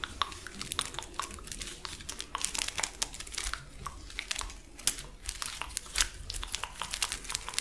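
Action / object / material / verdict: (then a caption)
scrape / plastic lattice fidget toy / plastic / none. A hand-sized, hollow purple plastic lattice fidget toy is stretched, compressed and scratched with long acrylic nails. The result is a dense run of quiet, dry crinkling and bright plastic clicks and ticks, each very short with almost no ring, over a faint low background rumble.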